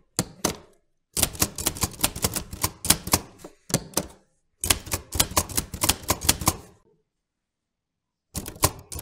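A black metal portable manual typewriter with round keys and a sheet of paper in the carriage is typed on with fingertips. Bursts of sharp, bright key clacks with short dull thumps come in uneven runs separated by silent pauses, each strike dying away almost instantly.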